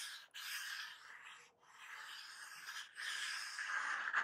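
Fingertips and medium-length painted nails tap and scratch across a small, hollow, glossy black printed cardboard box for a laptop battery lying on a table. The sound is a quiet, dry, bright scratching with no low end, broken by brief pauses, and the box is turned over by the end.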